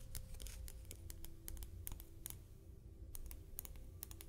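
Large shell buttons, glossy on the front and textured on the back, are traced, tapped and scratched with fingernails. Sharp, bright clicks and scratches sound in quick irregular bursts over a low, steady rumble.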